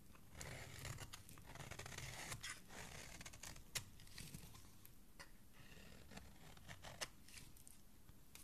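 A flat metal blade scrapes and shaves the edge of a thin, palm-sized solid pink soap bar held by fingers with dark nails, over a pile of shavings. Soft, continuous dry scraping and crackly shaving fill the clip, broken by occasional sharp, bright ticks as the blade catches. The sound is quiet and close throughout.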